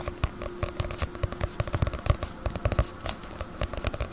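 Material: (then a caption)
Paper. Fingernails tap rapidly and irregularly on the glossy paper cover of a small, solid Bleach paperback manga volume, which sits partly hidden behind the microphone. Each tap is a short, dry click with a soft low thud underneath, dying away almost instantly over a quiet, steady background.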